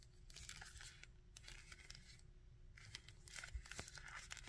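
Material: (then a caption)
Plastic. Fingertips and nails tap and scratch the coat and torso of a small grey and red plastic Red Skull action figure. Quiet, bright scratching and rasping comes in short bursts, with brief dry taps that die away almost at once over a faint low hum.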